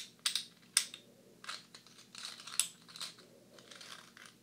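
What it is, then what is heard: Clay composite poker chips. A small, solid stack of blue clay composite poker chips is held in the hands while fingertips and nails tap the chips and click them against each other. About nine sharp, bright clicks land at an irregular pace, each one dry and quickly gone with no ring, alongside softer scratchy taps at a low overall level.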